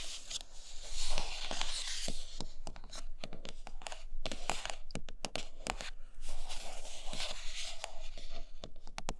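Long nails scratch and tap the edges and sides of a large, flat, printed cardboard iPad Pro box that is closed and hollow. Bright, hissy scratching swells early and again in the second half, broken up by many sharp, dry taps over a faint low hum.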